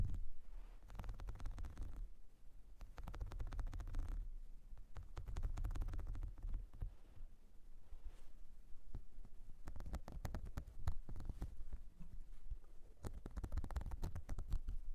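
Long nails scratch along the ridges and nubs of a flat, whale-shaped blue silicone makeup brush cleansing mat and tap on it. The result is a steady, muffled rubbing dominated by low rumbling tones, broken by many quick, dry taps and clicks with brief bright edges.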